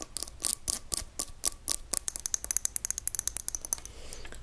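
Long nails tap the glass sides of a small, hand-held glass mason-jar shaker full of ground pepper with a metal lid. About 26 crisp, bright clicks sound, spaced out at first and then quickening into a rapid run. The clip ends in a soft, hissy scrape.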